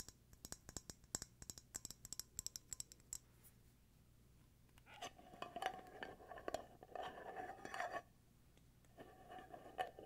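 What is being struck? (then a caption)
Glass candle jar with lid. Fingertips and nails tap, scratch and twist the black lid of a small glass candle jar filled with wax. The first three seconds bring a quick run of sharp, bright clicks; after a short quiet pause, gritty scratching and twisting sounds follow in uneven bursts, carrying a faint ringing tone near 740 Hz.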